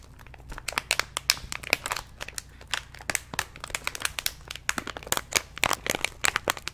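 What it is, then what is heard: Plastic snack pouch crinkled. A medium orange-and-white plastic stand-up snack pouch, apparently not empty, is held in both hands close to the mic while the fingers squeeze and crinkle the packaging. The result is a dense, bright crinkling full of sharp, dry crackles that stop instantly, with almost nothing in the low end.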